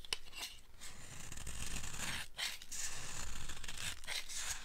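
A handheld blade carves into a solid, dry green soap bar with repeated scraping cuts. The sound is a steady, dry rasping with a crisp, bright edge over a low rumble, broken by a few brief pauses between strokes.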